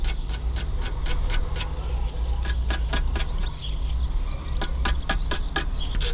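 Fingernails scratch and rub along the crusty, flaking edge of the corroded metal top rail of an aluminium car AC condenser. Quick, bright scratchy ticks repeat throughout over a steady low hum.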